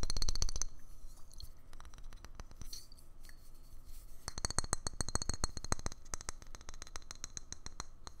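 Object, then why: Small frosted glass bottle. A small, hollow, frosted white glass bottle with a metal screw neck is held in the hands and tapped quickly with the fingertips. The result is a fast, uneven run of sharp, bright clicking taps that starts loudest, thins out, then grows denser again partway through.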